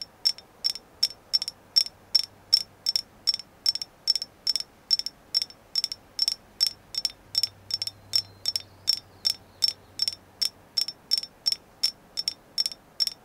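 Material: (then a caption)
Agate. A carved agate moon goddess figure is tapped in a steady, even series of short, dry clicks that are high and bright, with almost no low end. Each tap dies away almost instantly, and the stone is confirmed to be agate.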